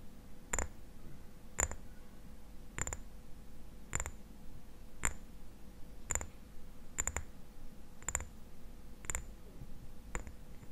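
Fingertips and nails tap the sides of a small, hollow amber glass dropper bottle, with a black rubber dropper cap and a white label, held upright in both hands. Sharp, short clicks come roughly once a second, some in quick doubles, each with a bright, high glassy ping that dies away almost at once. Underneath is a low, steady background rumble and a faint hum.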